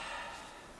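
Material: Nothing is struck.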